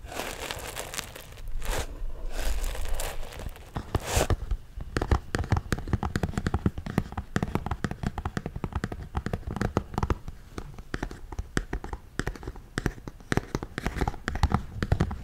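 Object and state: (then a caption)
Cardboard toy box. A small, hollow printed cardboard LEGO Friends set box, apparently sealed with its contents inside, is held in both hands close to the microphone while fingertips and nails tap and scratch its surface. The first few seconds are scratchy, crinkly rubbing, followed by a long run of rapid, dry, close-up taps with a soft, low, boxy thump.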